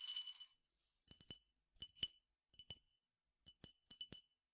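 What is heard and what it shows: A clear drinking glass, partly filled with peppercorns or grains and held in the hand, is tapped with the fingernails. A quick bright rattling flurry opens the clip, then short groups of two or three sharp, high clinks follow. Each clink rings near 3 kHz and dies away almost at once.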